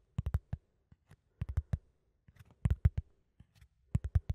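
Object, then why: Flat cardboard sheet scratched with fingertips and nails. A flat brown cardboard sheet, held in both hands near the microphone, is scratched with fingertips and nails. Quiet, short, dry scratches come in quick clusters of three or four, each dying away almost instantly, with faint softer scrapes between the clusters. The sound is soft and low, with a dull, muffled body.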